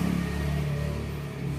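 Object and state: Nothing is struck.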